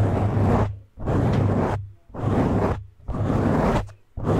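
Fingertips and short nails scratch and grip a medium-size black foam windscreen, soft porous foam over a hollow cover, on a condenser microphone, using both hands. This produces repeated, roughly second-long bursts of dense, muffled rustling with a strong low rumble. Each burst fades into a brief near-silent gap before the next begins.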